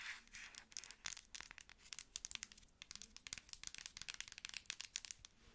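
A hand-sized, apparently filled dark plastic pump lotion bottle with a white label and black pump top is held in both hands and tapped and scratched with long acrylic nails. The result is a quiet, rapid run of sharp, bright clicks and crinkly scratching with almost no low end, each tap dying away instantly.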